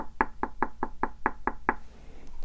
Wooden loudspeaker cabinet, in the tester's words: just solid it's built like a tank